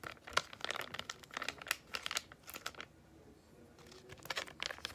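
A small, flat, yellow Freeman clay mask sachet of laminated foil-plastic, which appears filled, is held in both hands and squeezed and crinkled with fingertips and long painted nails. Bright, dry crinkles and crackles come in quick, uneven bursts with almost no low end. They stop for a short quiet stretch, then pick up again near the end.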